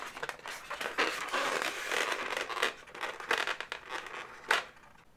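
Long nails scratch and squeeze the head segment of a hollow, inflated pink latex balloon dog. The result is a dense run of squeaky, crinkly rubber scrapes with bright, crackling bursts. The sharpest squeak comes near the end before the sound fades.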